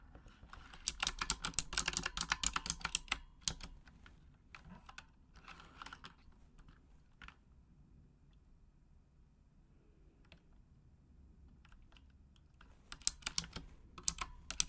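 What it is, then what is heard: Plastic mechanical keyboard. Long acrylic nails tap the plastic keycaps of a full-size pink Razer Huntsman mechanical gaming keyboard with RGB backlighting in a typing motion. A dense run of bright, sharp clicks plays for the first few seconds, then thins to scattered taps. After a long near-silent pause, a final quick burst of clicks follows near the end.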